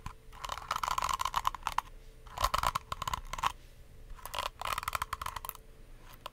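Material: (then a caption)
Plastic. Long nails scratch and flick the white plastic bristles of a small, palm-sized pink plastic detangling brush and tap its shell. The result is bursts of dense, crisp, crackling clicks with a tone around 1 kHz and a bright edge, separated by quieter gaps. Each click stops almost instantly.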